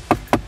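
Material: Hard plastic.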